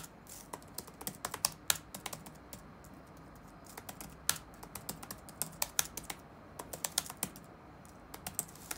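Fingertips tap rapidly on the black plastic keys of an open laptop resting on a wooden desk. An uneven run of short, bright, crisp clicks stands out over a faint background hiss, each tap dying away almost instantly with very little low end.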